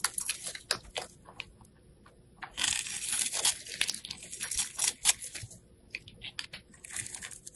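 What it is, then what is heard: Bar of soap being carved. A craft knife blade scrapes and carves a small, solid, dark blue soap bar held in the hand, cutting fine strands off its face. Bright, crisp scratching and crackling comes in short irregular strokes, with a denser, louder run of shaving a few seconds in, and almost no low end.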